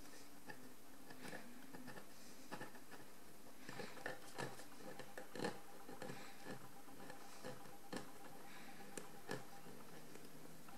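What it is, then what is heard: Encrusted ceramic jar being cleaned. A small metal loop tool scrapes a pale calcareous crust off a large encrusted ceramic jar lying on its side on a table. Quiet, brittle scratching and ticking runs throughout, broken by about eleven sharper clicks as bits of crust break away.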